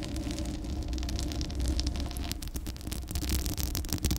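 Long acrylic nails on both hands scratch and rub the hollow metal mesh grille and black metal body of a Blue Yeti microphone. The result is a steady, deep, boomy rumble with a continuous wash of bright, crackly scratching layered on top.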